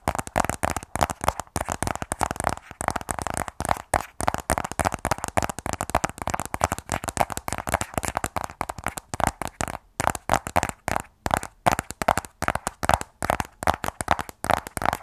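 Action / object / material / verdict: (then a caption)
tap / small rigid cardboard phone box / cardboard / none. Fingernails tap rapidly along the edges and face of a closed, small black rigid cardboard iPhone 12 Pro box. The clicks are dry and hollow, centered in the midrange around 770 Hz, and each dies away almost instantly. They come in quick, steady bursts throughout.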